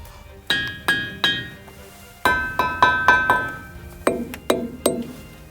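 A boulder of sonorous stone at the Ringing Rocks site in Montana is struck 11 times in quick, uneven succession. Each hit gives a bright, glass-like chime around 1 kHz that rings for about half a second. The last three strikes sound lower and duller.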